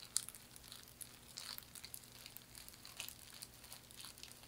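A thin, flat hand fan of woven palm or straw in a herringbone weave is scratched with long nails and flexed or squeezed in both hands. This makes quiet, dry, bright crinkling and scratching with a sharp crackle at the start, over a faint low steady hum.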